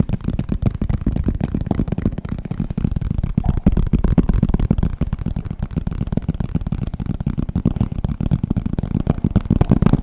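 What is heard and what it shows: Fingertips and nails tap quickly and scratch across the cover of a solid green hardcover book with gold lettering, held upright. The result is a steady ten-second run of dense, dull, low-pitched taps with almost no high-frequency brightness and very short decay.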